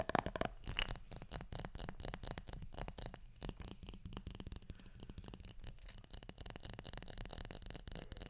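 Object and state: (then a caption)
Glass jar with metal lid. Fingertips scratch and tap the metal lid and the glass of a small glass jar that is partly filled with small items. Rapid, dense clicks and dry scratching continue throughout over a soft low rumble, with a faint bright edge on the taps. Each tap dies away almost instantly.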